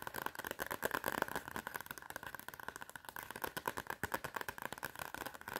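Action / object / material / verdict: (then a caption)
tap / cardboard notepad cover with metal spiral / cardboard / none. Long red nails tap and scratch quickly across the cardboard front cover of a clapperboard spiral notepad with a metal spiral. Dense, rapid clicks and scratchy rasps run throughout, with a steady band of tone near 1.4 kHz and crisp high-end detail, and almost no low end.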